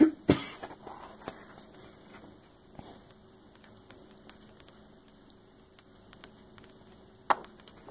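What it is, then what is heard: Glossy coffee table book page tapped with nails. Fingertips with long nails tap and scratch on the glossy paper page of a large open hardcover coffee table book lying flat. A couple of sharp taps open the clip, followed by a few lighter taps and soft, quiet scratching across the page. A final crisp tap lands near the end.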